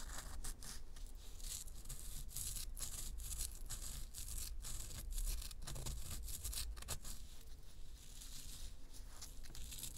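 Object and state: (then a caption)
Pressed powder bath bomb. Long nails scratch the crumbly surface of a solid, round pressed-powder bath bomb held in both hands. The result is a steady run of dry, bright scraping and crinkling strokes over a low, dull rumble.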